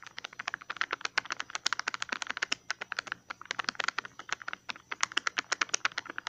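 A small, hollow green plastic tub with a ridged lid is held in the hand and tapped and scratched with fingertips and nails on the lid and rim. About 47 quick, crisp clicking taps come in a fast, uneven stream over six seconds, each bright and dry with almost no ring.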